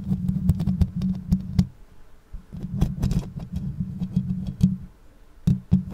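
Long nails scratch and tap the bare metal mesh grille and upper body of a black condenser microphone. A dense, low rumbling scrape runs throughout, broken by sharp, bright clicks and taps. The sound drops to near quiet around the two-second mark and again just before the end, then resumes.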